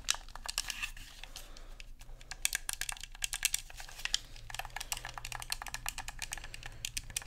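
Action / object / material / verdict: tap / plastic game controller / plastic / none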